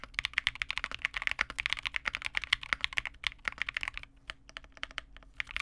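Fingertips of both hands type continuously on a Vega65 custom mechanical keyboard resting on a desk, with a dark case, a PC plate, re-lubed Cobalt switches and white/cream plastic keycaps. Quick, bright, crisp clacks follow one another in a dense run, with each keystroke dying away instantly. Near the end the keystrokes thin out into sparser, softer taps.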